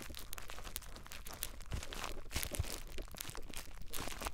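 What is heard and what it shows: Clear plastic bubble wrap wrapped around a small device is squeezed with the fingertips of both hands, giving a continuous run of dense crinkling and crackling. Sharp popping snaps stand out, with a strong low rumble beneath and bright bursts of crackle on top.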